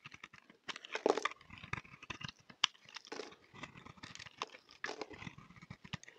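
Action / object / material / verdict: scrape / bar of soap / soap / none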